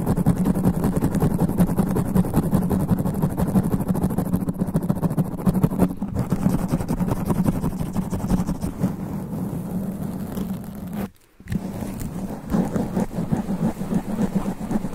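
Black extra-long nails from both hands scratch fast over a soft, porous black foam sponge cover on a large standing microphone in dim red light. The result is a dense, continuous, rough rumbling scratch, heavy in the low end with a hum-like centre near 170 Hz. It cuts to near silence for a moment around the eleventh second, then resumes just as intensely.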